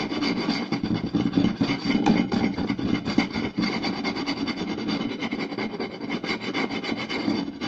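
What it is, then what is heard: Wooden plate scratched and tapped. Two hands quickly scratch and tap a round, solid wooden plate with their fingertips and short nails. The result is a dense, continuous rasping scratch with rapid, uneven taps running through it at a steady level.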